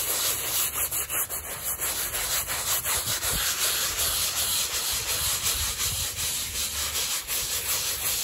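A gloved hand scrubs a small, flat woven rug that lies wet and soapy on plastic sheeting, working a stiff-bristled hand brush back and forth. The result is a steady, bright, scratchy scrubbing with a fairly regular rhythm of quick strokes, continuing throughout at an even level.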